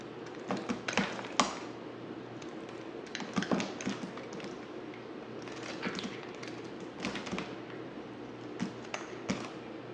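A dry, hand-sized, solid black oval bar of soap is held in one hand and shaved with a yellow utility knife blade, its curls falling onto the table. Irregular bursts of crisp, bright scraping and crackling clicks come in clusters over a quiet, steady low hum, each snap dying away quickly.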